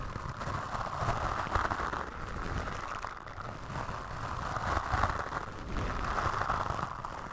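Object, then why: Foam microphone windscreen brushed with bristles. A bamboo toothbrush with white bristles brushes and scratches across a black foam windscreen on a microphone. The result is a steady, dense scratchy rustle centered in the midrange over a muffled low rumble, swelling and easing in loudness as the strokes continue.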